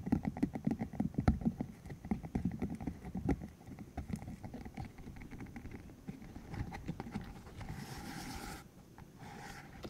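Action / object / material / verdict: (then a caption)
flick / hollow silicone tube with rubbery spikes / silicone / none. A green, hollow silicone cylinder about 15 cm long with rubbery spikes is held in the hands while its spikes are flicked, squeezed and rubbed with fingertips. Dense, irregular soft clicks and muffled low thuds patter for most of the clip, easing into quieter continuous rubbing with a brief brighter hiss near the end.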